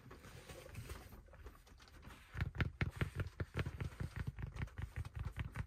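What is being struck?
Fabric baseball cap with stiff brim.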